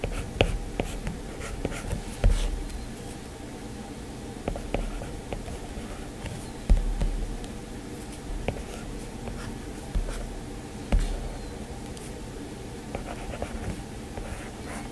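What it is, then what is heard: Stylus tapping a glass tablet screen. A stylus tip taps and scratches on the glass screen of a solid, flat iPad tablet while inking details. Sharp, scattered ticks and short scratching strokes sit over a steady low hum, at irregular intervals with quick decay.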